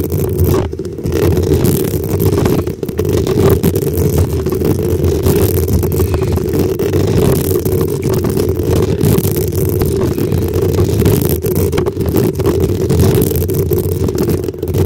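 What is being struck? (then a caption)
Metal mesh microphone grille. Long acrylic nails on both hands scratch the hollow black metal mesh grille on top of a desktop microphone. The result is a steady, loud, dense rasping rumble concentrated in the low range below about 500 Hz, with a hum-like tone near 380 Hz and very little high-end content, continuing without pause for the whole clip.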